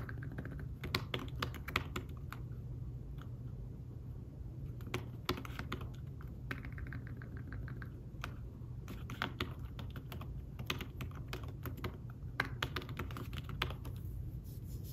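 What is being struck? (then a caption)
Fabric-covered tablet keyboard case. Fingertips tap the keys of a thin fabric-covered tablet keyboard case in fast typing. The taps are soft, short clicks that die away almost instantly, in quick irregular bursts with a few brief pauses. A steady low hum sits underneath throughout.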